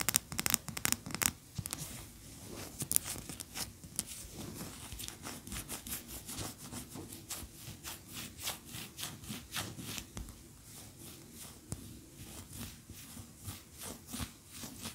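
Long fingernails scratch along the sides of a large cream solid wax pillar candle standing upright. The result is a steady run of dry, bright scraping strokes, louder and sharper in the first few seconds, then settling into softer, quicker rubs.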